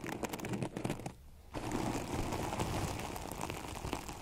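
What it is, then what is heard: Artificial grass microphone cover being scratched. Long acrylic nails scratch quickly across a synthetic plastic turf cover over a microphone, with both hands gripping the cover. It makes a dense, crackly rustling with low thumps. The sound drops to a brief near-silence just after one second, then resumes as steady scratching to the end.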